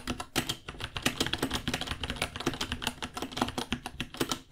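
Fingertips type on a white 66-key plastic mechanical keyboard, about 30 cm long, with plastic keycaps and a hollow case. Rapid, uneven clacks run continuously, each a sharp, short bright tick with a hollow low body, blending into a steady clattering stream.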